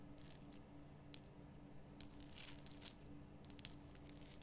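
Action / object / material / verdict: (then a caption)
scrape / rock salt lamp / rock salt / none. Long nails scratch and tap the rough surface of a large, glowing pink Himalayan rock salt lamp carved from a solid salt block. The result is quiet, dry scratching and crisp, bright clicks and crackles, with a few sharper taps standing out over a faint steady low hum.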